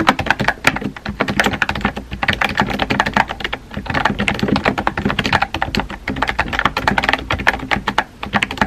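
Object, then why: Plastic computer keyboard. A compact pink plastic keyboard with round white keycaps is typed on by fingertips, producing a steady stream of quick, crisp key taps. The clicks are short and dry with little ring, with energy centered in the mids and brighter edges on each tap.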